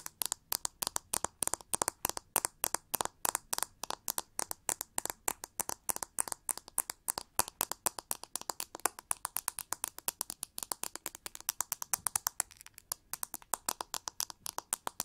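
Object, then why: Plastic vent hair brush with plastic bristles. Long nails scratch and flick along the rows of plastic bristles and the body of a narrow, hollow, shiny pink plastic vent hair brush held sideways. The result is a rapid, steady stream of over a hundred dry, sharp clicks and ticks, each very short and bright with almost no low end.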